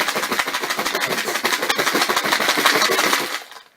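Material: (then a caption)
Metal, plastic. A plastic hummus tub holding the small metal internal parts of a bicycle front wheel hub, soaked in WD-40, is shaken firmly. The parts rattle and clink inside the tub in a dense, bright, steady clatter for about three seconds, then the sound fades out as the shaking stops. The rattling loosens the gunk from the parts.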